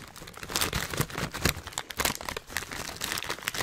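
A filled Hot Nuts snack bag of metallized plastic foil is held upright in one hand and squeezed and crinkled by the fingers. The result is dense, continuous crinkling with bright, crackly bursts rising and falling in loudness.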